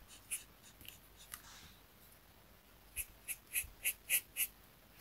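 A marker tip held in the fingers rubs short coloring strokes across a thin, flat paper coloring sheet resting on a desk mat. Nine quiet, bright, scratchy strokes are heard, three sparse ones early on, then six in a quick, fairly even run near the end. Each stroke is short and dry, with almost no low end.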